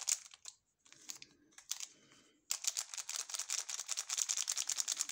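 A sealed, full ALBO candy bar in orange plastic film is held in both gloved hands, which flex and rub the wrapper and turn it over. Bright, sharp crinkles come in scattered bursts, then turn into a dense, steady run of rapid crackling for the last half of the clip.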